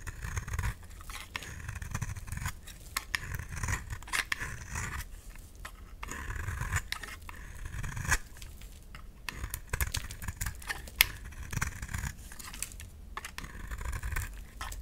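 A solid, dry, round pink bar of soap held in the palm is shaved with a utility knife, peeling off thin pink curls. Repeated short, crisp scraping strokes carry a bright edge over a low rumble, with brief rasping bursts throughout.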